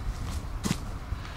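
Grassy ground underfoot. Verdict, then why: Solid. A person steps up and down and jumps on a grass course to hear the ground, producing dull, low-pitched thuds with a brief sharper impact. The ground sounds solid and firm, unlike the rain-soaked grass expected in Portland.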